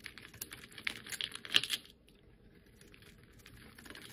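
A hand-sized, solid rounded bar of pink and white striped soap with a red and black dotted edge is held in the fingers and scraped with a metal utility-knife blade, curling off thin shavings. Bright, crisp scraping ticks and rasps cluster over the first two seconds, then fade to quieter, sparse scratches.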